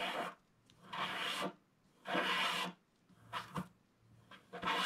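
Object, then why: Black-coated scratch-art card scratched with a wooden stylus. A wooden stylus scratches across a flat, black-coated scratch-art card, producing dry, raspy strokes separated by short pauses. Each stroke is a bright, broadband hiss with a rough grainy texture, and the shorter strokes near the end sound quicker and more clipped.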